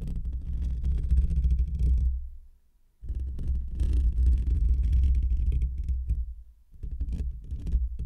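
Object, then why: Metal wire-mesh microphone grille. Short fingernails and fingertips of both hands scratch the hollow, rounded black metal wire-mesh grille of a desktop condenser microphone. The result is a deep, muffled rumbling scrape centered in the low bass, coming in three long bursts separated by brief near-silent pauses.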